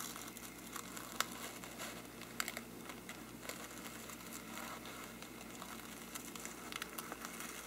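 A small brush pinched in the fingers scratches and flicks against the side of a hollow faux-parchment paper lampshade. A quiet, steady, bright crinkling scratch runs throughout, broken by sharp, dry flicks that die away almost instantly.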